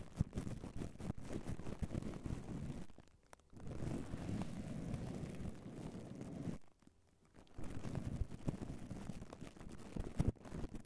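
Bare fingertips of both hands rub and lightly tap a red foam microphone windscreen wrapped in clear cling film, giving dense, muffled, low-heavy crinkling and scratching with soft thumps. The rubbing breaks off into near silence twice, around 3 and 7 seconds, then resumes.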